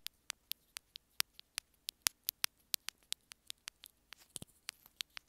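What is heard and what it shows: Long nails rapidly scratch and tap along a small white plastic inline remote on an earphone cable. About 22 sharp, bright, dry clicks and ticks come in an uneven rhythm, each dying instantly, with a faint soft rustle between them.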